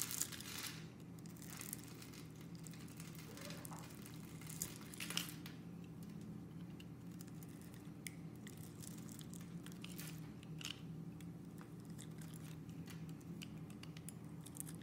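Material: Soap.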